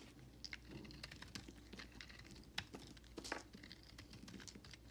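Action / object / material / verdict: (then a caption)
scrape / bar soap and knife blade / soap / none. A utility knife blade scrapes and carves shavings along the edges of a solid white bar of soap held in the hand. The quiet sound is a dense run of crisp, dry ticks and crackles with a bright, high edge, and each short scrape dies away almost at once.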